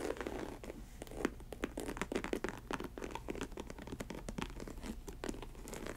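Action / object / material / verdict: tap / synthetic leather ankle boot / synthetic leather / none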